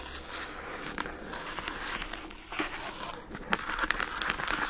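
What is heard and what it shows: Long acrylic nails scratch and tap the lid of a rectangular pink plastic food container box with a paper label, lying on a rug. A soft, steady scratching hiss runs throughout, broken by sharp, bright clicky taps that grow more frequent and crinkly toward the end, centred around 1.7 kHz.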